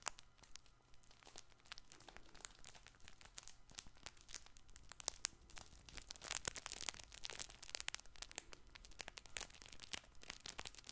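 A soft multicolored fabric baby toy ball with tags and a plastic ring, hollow and likely crinkle-filled, is held close to the mic and scratched and rubbed with painted fingernails. The result is a dense, bright stream of crisp crinkling and crackling with many sharp ticks and a low hum underneath.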